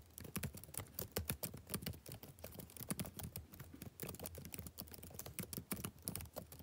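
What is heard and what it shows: Fingertips type rapidly on the plastic keys of a backlit laptop keyboard, producing a steady stream of quiet, soft clicks and taps. Each tap is short and dry with almost no ring, and the keystrokes carry a low thump under a faint bright click edge.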